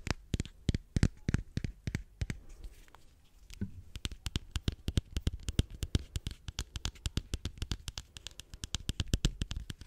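Long fingernails tap rapidly on a small, hollow, pink-and-white egg-shaped plastic lip balm case held close to the microphone. The taps are quick, dry clicks with almost no ring, with a brief lull near three seconds before the steady tapping resumes.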